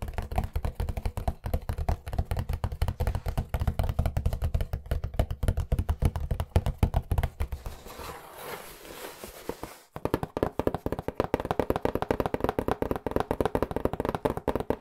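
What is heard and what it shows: A flat white cardboard pizza box printed "Angelo's Pizza & Pasta," hollow and apparently empty, is held upright in front of the mic and tapped fast with fingertips. The rapid taps give dull, boomy, low thumps with very short ring. Near the middle the tapping gives way briefly to a softer, brushing scratch before the quick tapping resumes with a slightly brighter tone.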